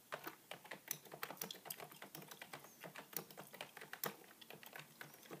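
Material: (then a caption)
Plastic. Two hands type with their fingertips on a beige, full-size plastic keyboard with a hollow body, producing about 28 rapid, separate key taps over five and a half seconds. Each tap is a quiet, dry, bright click that stops almost at once, with a faint hollow knock beneath it.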